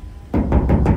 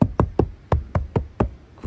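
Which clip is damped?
The second.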